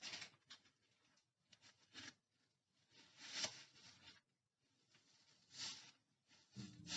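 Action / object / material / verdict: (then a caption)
scrape / polyurethane foam bath sponge / polyurethane foam / none. Hands in rubber gloves rub, squeeze and compress a large, dry, two-layer polyurethane foam bath sponge, yellow with a white layer, light and porous, fresh from its wrapper. Quiet, bright, airy rustling and crackling comes in short bursts with brief silences between. The sound is mostly high with little low end.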